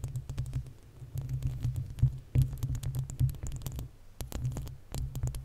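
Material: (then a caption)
Metal mesh. Long acrylic nails of both hands scratch the uncovered, hollow metal mesh grille of a desktop condenser microphone. The result is a dense, low, throbbing rumble under rapid, irregular scratching clicks with brief, bright crackles, swelling and fading as the nails move.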